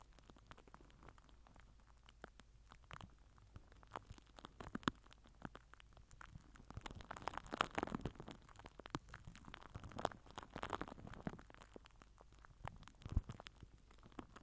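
A microphone head wrapped in crinkled purple plastic film is rubbed and pressed with the end of a plastic glue stick. The result is quiet, close crackling and crinkling full of sharp little clicks and pops over a faint steady low hum. Denser, louder bursts of crinkle come around the middle and again a little later.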